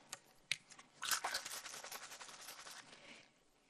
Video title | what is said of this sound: Thursday, April 16 - 4th & 5th Grade - Mathematics & Science | I'm going to give it a shake. It's very fizzy.